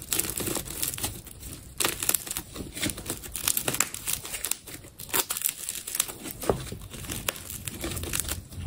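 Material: Plastic tape.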